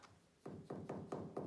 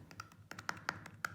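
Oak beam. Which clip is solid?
The first.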